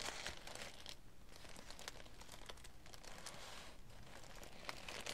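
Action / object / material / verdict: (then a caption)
scrape / thin tissue paper / paper / none. Fingertips and long nails rub and smooth a sheet of thin green tissue paper lying flat on a table, then the hands press it flat. Steady soft crinkling and rustling runs throughout, with many brief bright crackles over a low, quiet rumble.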